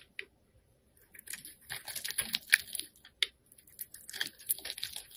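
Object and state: Bar soap being carved.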